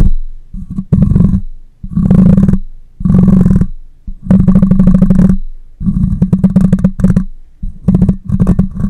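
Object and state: Metal mesh microphone grille being scratched.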